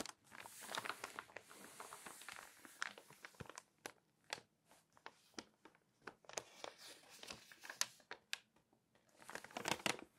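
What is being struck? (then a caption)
Glossy paper magazine pages. Fingertips and long nails rub, scratch and turn the pages of an open glossy paper magazine spread flat. Soft, bright crinkling and papery rustling swell in bursts, broken by many short, sharp nail scratches and taps. The sound is quiet and close, with almost no low end.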